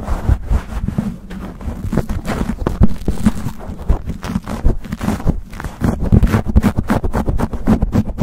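Fingertips and short nails grip, scratch and rub a black foam windscreen on a microphone in fast, rough strokes. The result is a dense run of muffled scraping bursts and low, boomy thumps, with most of the energy in the bass and little brightness.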